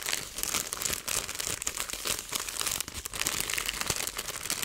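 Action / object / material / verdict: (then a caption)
shake / plastic zip bag of small seeds / plastic / none. A clear plastic zipper bag with a green seal, about half full of small grey-black seeds (possibly chia), is held in both hands and squeezed and crinkled with fingertips and long painted nails. Dense, bright crinkling and faint crunching fill the clip, with little low end and only brief dips between squeezes.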